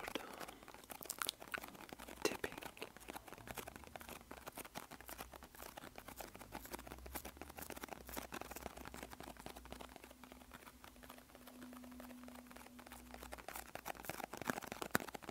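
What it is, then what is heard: Cardboard medicine box. A small, empty-looking green and white printed cardboard medicine box is held in both hands and tapped and scratched with bare fingertips and nails. Dense, quiet, crinkly taps and scratches run continuously, with a faint low hum beneath and a steady tone near 240 Hz in the middle of the clip.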